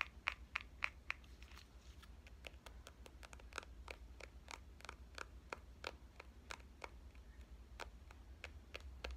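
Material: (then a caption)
Metal, plastic. Fingernails tap the front and back of a small, hollow pink compact digital camera with a metal and plastic body. The result is a rapid, irregular run of short, bright clicks that die away instantly, with the first few the loudest, over a steady low hum.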